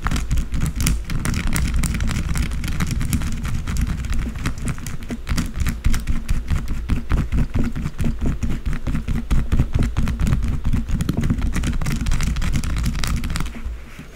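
Long blue acrylic nails rapidly scratch and tap the top of a solid white bar of soap lying flat on a dark surface. The result is a dense, continuous stream of quick, dry scratches and soft taps with a heavy low-end thump and little brightness. The sound fades near the end.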